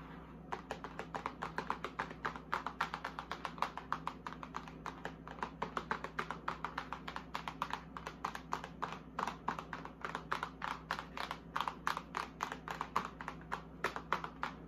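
Long acrylic nails rapidly tap and scratch the front face of a large printed cardboard retail box for a mini vanity fridge, which stands on a granite counter, hollow with the fridge still packed inside. The hits come as a quick, steady stream of short, dry, papery clicks centred around 1 kHz with almost no ring, over a faint steady low hum.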